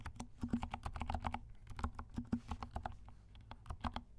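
Fingertips of both hands type quickly on a compact black mechanical keyboard with silent switches and black and pink plastic keycaps. Rapid, soft, dull clicks patter in an uneven stream, each with a low thud and a short, bright tick that dies away almost at once.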